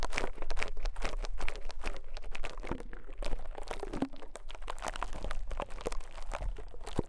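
A rose-gold metal pick is pressed and scraped again and again into a small, soft white konjac sponge resting on a microphone capsule. The result is a dense stream of close, wet crunching and crinkling textures with a steady low rumble underneath. There are no long pauses between strokes.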